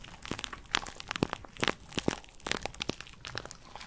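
Long purple nails tap and scratch the outer wall of a small, empty pink paper cup held in the hands close to the mic. The result is a quick run of sharp, dry crinkling and crunchy clicks with bright, crisp highs, each one dying away almost at once.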